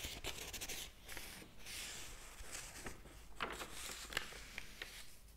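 Fingertips rub across the paper pages of a large open hardcover book, then turn a page. The sound is a continuous soft, airy rustle with brief brighter crinkles and ticks scattered through it.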